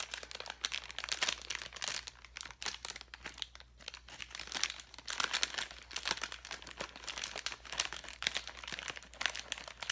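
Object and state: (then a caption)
Plastic bag of foam letters. A clear plastic bag full of foam letters is held in the hand and crinkled and squeezed with the fingertips. The result is a continuous, bright crinkling and crunching, with brief crackles and soft swells but no separate, countable hits.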